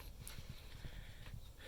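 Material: Nothing is struck.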